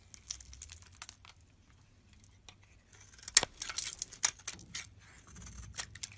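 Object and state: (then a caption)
Bar soap being shaved. A utility knife blade scrapes and shaves the face of a yellow rectangular bar of solid soap held in the palm. Soft, bright scratching and crinkly shaving strokes come in irregular bursts, with a quiet stretch in the middle before sharper, louder scrapes follow.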